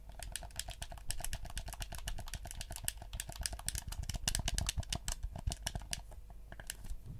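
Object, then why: Hollow plastic gamepad. Fingertips tap and click the buttons and shell of a black PS4 hollow plastic gamepad in a rapid, uneven stream. Each tap is a short, dry click with a bright top and a soft, low knock beneath. The taps grow busier and louder midway, then thin out toward the end.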